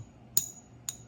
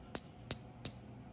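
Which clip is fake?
The second.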